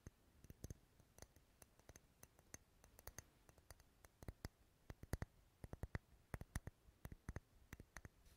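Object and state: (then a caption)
Wax pillar candle tapped with fingernails. A large dark red, unlit, solid wax pillar candle is held close to the microphone and tapped with long nails on its side and top. Many quiet, sharp, dry clicks with a dull low thud and a bright tick sound in an irregular pattern, each dying away almost at once.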